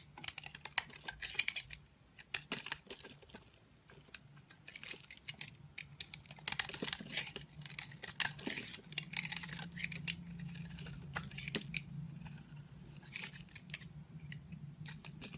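A green-handled metal blade carves a solid orange soap bar, scraping off crumbly shavings. Dense, bright scratching and crisp clicking ticks run throughout over a faint low hum.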